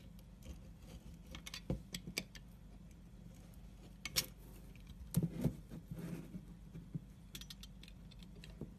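A pointed scoring tool cuts parallel and cross grooves into the face of a solid dark brown soap bar. Short, dry scratching clicks and scrapes come in irregular bursts, some with bright, crisp edges, over a steady low hum.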